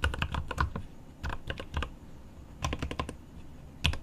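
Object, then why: Mechanical keyboard, plastic keycaps on aluminium case. Both hands tap rapidly with the fingertips on a 75% mechanical keyboard with plastic keycaps on an aluminum case. Bursts of quick, sharp clicks with a deep low thock come in clusters with short pauses between them, and each keystroke dies away almost at once.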